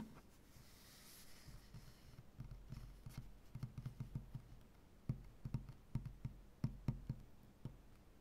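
One hand scratches, rubs and knocks with fingertips and nails on a solid light wood butcher block tabletop. Soft, faint scratching and rubbing come first, then a series of dull, low, quiet knocks with almost no ring, some close together and some spaced apart.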